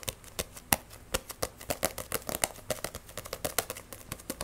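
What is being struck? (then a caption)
Paperback book with paper pages and card cover. A handheld Wandering Witch paperback manga, solid, with paper pages and a glossy card cover, is gripped, tapped and scratched fast with long painted nails. About 28 sharp, dry, bright clicks and taps come in an irregular rapid run, with papery scratching between them. Each tap dies away almost instantly with no ring.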